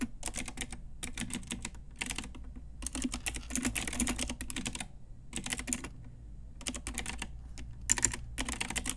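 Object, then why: Plastic mechanical keyboard. A full-size pink Ajazz retro mechanical keyboard, with round plastic typewriter-style keycaps on a hollow plastic case, is tapped with long nails and fingertips. Bursts of rapid, bright, clicky keystrokes are separated by short pauses, with a low hollow thud beneath each flurry.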